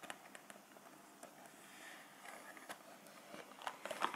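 A full, small printed cardboard cheese box is held in the hands and tapped and scratched with fingertips and nails. Quiet, dry, crackly taps and scrapes come at an uneven pace over a soft, steady hiss. The taps grow louder and denser toward the end.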